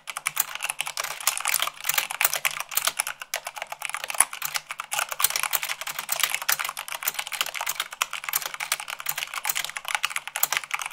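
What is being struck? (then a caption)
Plastic mechanical keyboard keys. Long acrylic nails type fast on a full-size plastic mechanical keyboard with white plastic keycaps on a black base. The result is a dense, continuous stream of sharp, bright clicks and clacks with almost no low end, each keystroke dying away almost instantly.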